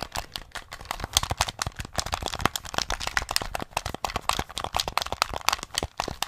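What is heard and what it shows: Fingertips and nails rapidly tap the buttons and casing of a small, hollow grey plastic SNES gamepad held close to the mic. The result is a fast, uneven run of sharp, dry clicks and clacks with a hollow plastic tone centred around 1.1 kHz and bright upper edges. Each tap dies away almost instantly, with no ring.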